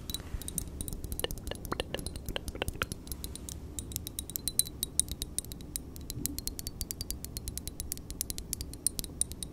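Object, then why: Small glass perfume bottle. Long painted nails tap a small square glass perfume bottle, partly filled with amber liquid and topped with a silver cap, as it is held in the hand. The result is a steady stream of quick, bright, clicky taps with a thin high glassy ring that dies away almost instantly, over a faint low background rumble.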